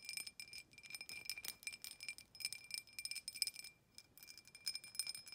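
Long nails quickly tap and scratch the outside wall of a clear, hollow, empty drinking glass tumbler with an embossed pattern, held in the hand. Bright, glassy clicks and scrapes come in rapid bursts with a thin high ring that dies away almost at once, with no low end, and a brief pause near the four-second mark.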